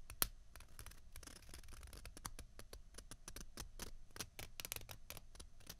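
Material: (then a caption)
Plastic. Two small hollow white plastic ping pong balls, one held in each hand, are rubbed and scratched with long fingernails. Quick, dry, bright clicks and scrapes come in a steady string over a low rumble, with one sharper click standing out near the start.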